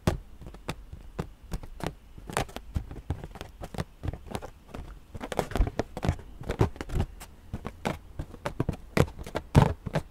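A purple inflated latex rubber balloon, hollow, is tapped again and again with long nails and fingertips. It gives a steady run of quick, dull, low thumps with a hollow body around 125 Hz, some sharper brighter clicks where the nails strike, and each tap dies away almost at once.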